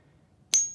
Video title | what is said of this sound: Silver Bar - Ping Test - Better Sound! | pretty much just clank dead ends right at the end